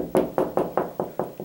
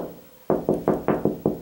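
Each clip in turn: First: Seven quick knuckle knocks on a wall, short and firm with no boom, where a stud backs it. Second: Six quick knuckle knocks on drywall, dull and hollow-sounding around 370 Hz: no stud behind this spot.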